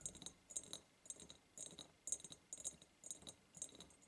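Long purple nails tap fast on both sides of a large, hollow, ribbed clear glass jar. The result is bright, short clicks with a high glassy ring, arriving in quick uneven bursts.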